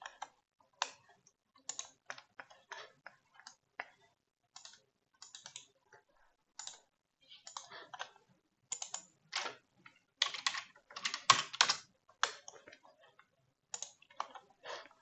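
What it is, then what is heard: Plastic computer keyboard. One hand resting on a black plastic computer keyboard taps and presses the keys with fingertips and nails. Short, dry, bright clicks come in irregular bursts and clusters, with quick flurries building in the middle before thinning out again. The clicks are quiet, with almost no low end, and each one dies away instantly.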